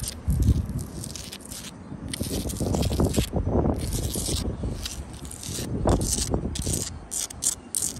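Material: Sandstone.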